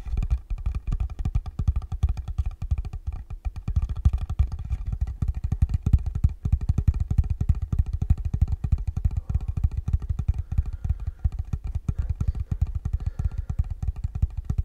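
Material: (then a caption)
Wood. Fingertips tap rapidly and steadily on the top of a small, rectangular, hollow wooden box held in the hands. Each tap is a short, deep, bass-heavy thud that dies away almost at once, forming a continuous, even drumming pattern with little high-frequency content.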